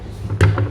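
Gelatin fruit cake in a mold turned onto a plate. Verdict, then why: Loose. A chilled, transparent gelatin fruit cake in a mold is turned upside down onto a plate, and the mold is tapped to loosen it. Two low, dull thuds are heard over a faint low rumble. The cake comes free of the mold.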